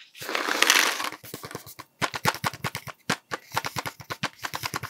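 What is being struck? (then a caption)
Cardboard sweets tube with plastic cap. A hollow cardboard Smarties tube with a plastic cap is scratched and tapped with fingertips. A bright, rustling scratch fills the first second, then a quick, uneven run of sharp, hollow taps follows, each dying away fast.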